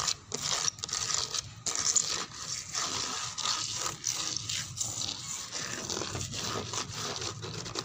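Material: Wood.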